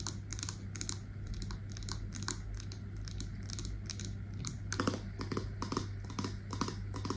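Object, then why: Wax-filled glass candle jar with metal lid. A wax-filled candle in a glass jar with a silver metal lid and a label is tapped with long nails on the glass and the lid. The result is a quick run of light, bright, clicky taps over a steady low hum.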